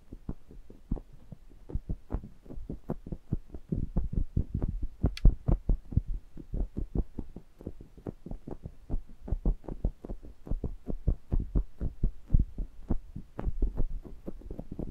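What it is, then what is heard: Metal microphone grille being tapped. Both index fingertips with short nails tap and rub the metal mesh grilles of a stereo pair of small metal pencil condenser microphones, making direct contact with the mics. A steady stream of quick, dull, bass-heavy thumps runs throughout, each dying almost instantly, with a faint scratchy rustle between taps and a few sharper clicks.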